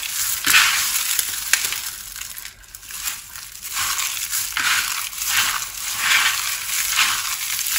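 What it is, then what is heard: Pile of crushed dry soap pieces. Two hands dig into a large pile of small, multicolored dry soap shards on a wooden surface, squeezing and rubbing the crushed pieces between the fingers. The result is a continuous, bright, crisp crunching and crackling with almost no low end, swelling and easing with each squeeze and briefly quieting partway through.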